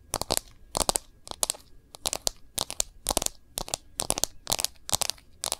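Long nails tap and scratch the back of a smartphone in a clear plastic case. Quick clusters of crisp, bright clicks and scrapes repeat throughout, dry and very short with almost no low end.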